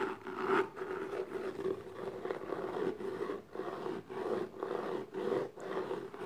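Long nails scratch and rub across the top and sides of the lid of a small, closed, hollow black gift box made of textured paper-covered cardboard. The result is a steady, dry, midrange scraping with a hollow tone around 370 Hz, broken into repeated strokes by short quiet gaps, with little bass or high end.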